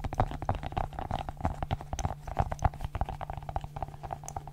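Long nails press and pop the bubbles of a multicolored silicone pop-it fidget ball held close to the microphone. Rapid, irregular soft pops and clicks sound dull and thumpy with a hollow midrange tone, over a faint steady low hum, continuing throughout the clip.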